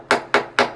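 Three hammer taps on a sound section of wall plaster give short, dull knocks with a quick decay and a mid-range body. The plaster is solid, in contrast to the nearby blown plaster.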